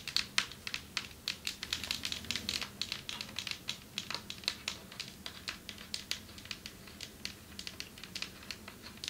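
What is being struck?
Marble table top.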